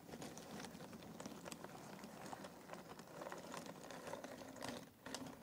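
Fingers pick up and drop small handfuls of cardboard jigsaw puzzle pieces in a box, making a steady, dense patter of light clicks and rustling. The quiet, bright clatter runs nearly continuously, easing briefly just before the end.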